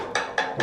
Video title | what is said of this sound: Vous construisez mal en Afrique à cause de ça. | ça sonne creux. Ça veut dire que c'est mal posé.